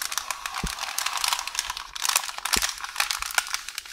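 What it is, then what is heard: Roll of baking paper. One hand with long orange nails scratches, taps and rolls a beige parchment baking paper roll with a loose sheet edge on the counter. Bright, crinkly rustling and scratching fill the clip, punctuated by sharp nail taps and a couple of soft low thumps.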